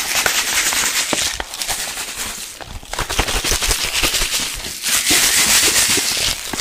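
A clear plastic drink bottle with a yellow cap, partly filled with blue liquid and sand, is held in one hand and shaken fast. It makes a continuous, bright, hissy slosh full of gritty crackling ticks, like rapid splashing mixed with sand grains. The sound stays loud throughout, dipping briefly twice before surging back.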